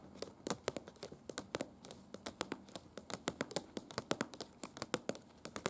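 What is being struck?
Glossy paper brochure.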